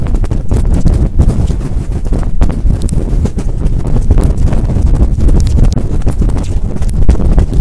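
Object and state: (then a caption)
Furry microphone windscreen being scratched. Long fingernails scratch and rub a large, fluffy synthetic-fur windscreen covering a microphone held close up. The result is a loud, continuous wash of rapid, muffled scraping and rumbling, almost entirely deep low-end thumps with no bright content.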